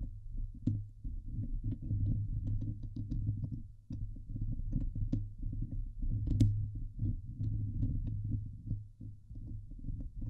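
Long nails scratch the hollow steel mesh dome grille of a Blue Yeti microphone, producing a continuous dense, scraping rumble. Almost all of the energy sits deep in the low end around a steady 105 Hz hum, with brief bright clicks flicking up now and then. The loudness swells and dips irregularly over the ten seconds, with a short lull near the four-second mark.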